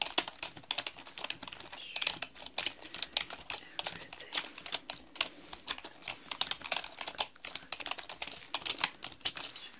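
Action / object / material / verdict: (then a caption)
tap / plastic mechanical computer keyboard / plastic / none. Fast two-handed typing with long nails on a black mechanical computer keyboard with plastic keycaps. A dense, rapid stream of short, sharp, bright clicks and clacks, peaking around 3.4 kHz, with almost no low end and very little ring after each keystroke.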